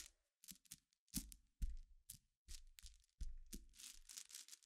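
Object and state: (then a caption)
Glass pebbles scratched and tapped. A dense layer of small, solid, clear glass pebbles is scratched and tapped with long black fingernails and fingertips. Short, bright, gritty clicks and rattles come in irregular bursts, some with a low thump beneath. The scratches and taps leave no ringing tail.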